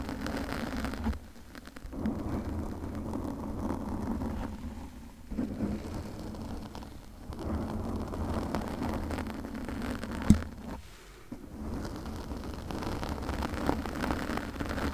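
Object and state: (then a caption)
Foam microphone windscreen being scratched. Long nails on both hands scratch a pink soft, porous foam windscreen on a condenser microphone. The result is a dense, muffled, low rumbling scrape with a steady hum-like body and almost no brightness. It comes in continuous stretches broken by short quiet gaps, with one sharp click near the ten-second mark.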